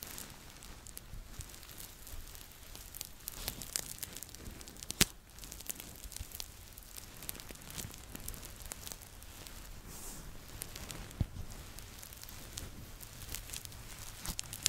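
Fingertips and nails scratch over the back and side of a medium-size, soft red Teletubby Po plush toy with a fleecy fabric body, stuffed rather than hollow, held up close to the microphone. A dense, continuous scratchy rustle and crackle fills the clip, bright and hissy, with a few sharper ticks standing out around 5 and 11 seconds.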